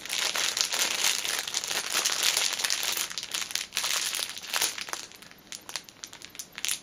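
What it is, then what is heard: Plastic-wrapped fitness band crinkling. A folded orange fitness band in a clear plastic cellophane wrapper is handled as nails scratch the film and hands press and squeeze its edges. The result is a dense, bright crinkling with sharp crackles, steady at first and then thinning into sparser, scattered crinkles toward the end.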